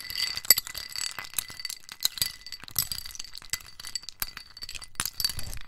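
A metal spoon stirs ice cubes in a small white scalloped ceramic bowl held in the hand, knocking the ice against the ceramic walls. Dense, rapid clinks and rattles ring bright and glassy, each dying away almost at once, with a fine high hiss between them.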